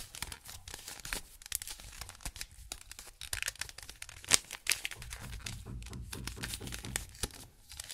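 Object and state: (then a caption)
Plastic mirror puzzle cube. A small hollow plastic mirror puzzle cube with gold reflective stickers is held in gloved hands close to the recorder and twisted, so its layers click and rub against each other. The result is a steady stream of quick, dry, bright clicks and crinkly scraping, with a few sharper, louder snaps near the middle.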